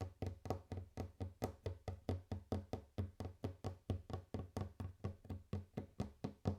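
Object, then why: Wooden table. Fingers tap on a wooden table for ASMR, a steady run of about 29 short, dull knocks. Each tap has a low, woody thump with a quick decay and a slight bright click at the onset.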